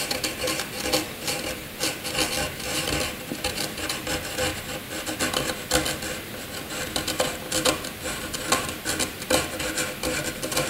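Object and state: Graphite pencil scribbling on paper.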